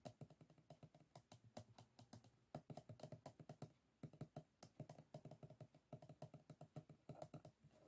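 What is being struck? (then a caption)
Closed bamboo and paper folding fan. Fingertips of both hands tap and scratch the rib edges of a small, closed bamboo folding fan, its solid stack of bamboo ribs and folded paper lying flat on a wooden table. Dozens of quick, soft, dry clicks run in an irregular typing-like patter with a few short pauses, each tick woody and low-mid heavy and dying away almost at once. The whole clip stays quiet and close, with little brightness.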